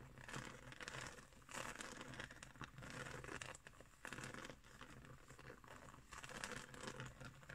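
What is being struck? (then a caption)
Woven straw trivet. Long green nails and fingertips scratch across a round, flat woven straw trivet. The result is a soft, continuous, crinkly scratching with dry rustling textures and bright edges, swelling and easing in quiet waves throughout.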